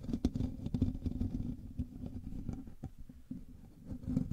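Fingertips and nails of both hands scratch the hollow metal mesh grille of a black microphone. The result is a dense, muffled, low rasping with a steady hum near 250 Hz, broken by short, sharp scrapes that flare bright and then ease into a softer rustle before building again.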